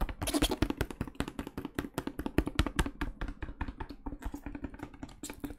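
A medium plastic cleaning-product bottle with a label, filled with liquid, is tapped and knocked with the fingertips of pink rubber gloves. It makes a quick, irregular stream of short, dull taps with a hollow low-mid ring and faint bright clicks, each dying away almost instantly.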